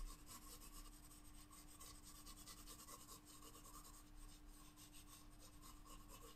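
A wooden graphite pencil held in the fingertips draws on a spiral-bound paper sketchbook page lying flat on a table. Continuous, quiet scratching and shading strokes rasp steadily with a bright, papery hiss over a faint, steady low hum.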